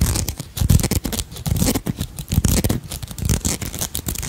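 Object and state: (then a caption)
Beaded crystal brooch. Long nails scratch and tap across a purple beaded dragonfly brooch with crystals, held close to the mic. A dense, uneven run of rustling scratches and quick dry clicks overlaps with soft low thumps, and the clicks die away almost instantly, leaving a steady, close-up crackle.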